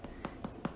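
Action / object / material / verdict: tap / choux pastry eclair shell / choux pastry / baked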